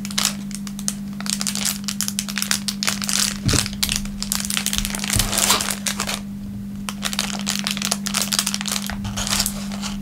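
A thin, clear plastic film wrapper on a wooden table is pressed and rubbed flat with the fingertips of both hands. It makes dense, bright crinkling and crackling over a steady low hum. The crinkling eases briefly near the middle, then picks up again.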